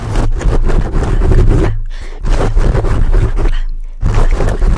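Fingertips of both hands scratch and pinch the top of a black foam microphone windscreen, producing deep, rough, rumbling scraping in dense bursts. Two brief quieter gaps break the bursts, and the sound stays heavy in the low end.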